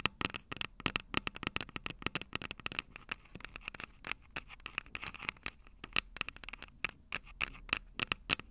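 Long purple nails tap and scrape the silver metal mic capsule tops of a Tascam DR-05 handheld recorder. The result is a rapid, irregular run of sharp, bright clicks with scratchy scraping between them, each tap dying away almost instantly. A faint metallic tone sits around 2.6 kHz.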